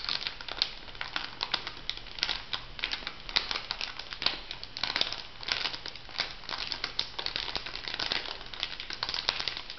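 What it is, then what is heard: Plastic foil sachet. A small, flat, pink printed plastic/foil sachet, filled, is crinkled and scratched with long nails. The result is a dense, continuous run of bright, crackly crinkles and sharp scratchy ticks, with little low end, lasting the whole clip.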